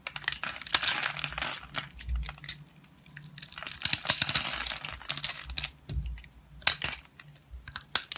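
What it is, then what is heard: Bar soap being cut and scraped. A green-handled utility knife blade cuts and scrapes across the scored grid of a solid rectangular blue bar of soap with an embossed logo, held in hand, as small cubes crumble off. Bright, dry crumbling and crackling bursts come in clustered waves with short quiet gaps between them. Sharp ticks mark the pieces breaking away.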